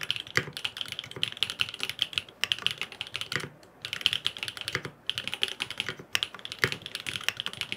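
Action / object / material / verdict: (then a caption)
tap / aluminium-cased mechanical keyboard with plastic keycaps / aluminium, plastic / none. Fingertips type rapidly on a grey aluminum FROG MINI mechanical keyboard with linear switches, blue and purple plastic keycaps and no foam inside. It makes a steady stream of short, bright, clacky key taps with very little low end, pausing briefly around the middle of the clip.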